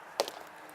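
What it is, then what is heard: Hollow oak trunk. A mallet taps twice on the base of a chinquapin oak trunk, giving short, hollow-sounding knocks with a midrange tone around 570 Hz and almost no ring. The spot is hollow, with a cavity of about 3 feet under the tree.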